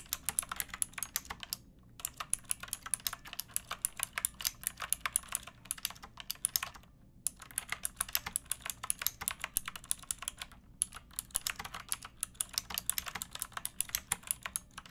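Fingertips with long painted nails type steadily on a pink backlit plastic mechanical keyboard with round typewriter-style keycaps and a hollow case. It makes a rapid, continuous stream of bright, crisp clicks that die away almost at once. Brief pauses break the typing just before 2, 7 and 11 seconds.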